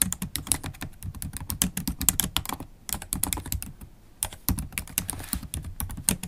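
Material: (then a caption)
Plastic. Long holographic acrylic nails type fast on a MacBook Pro keyboard with black plastic keycaps set in an aluminium laptop body. The result is dense, rapid tapping with bright, crisp clicks and a soft low thud under each stroke, broken by two brief pauses.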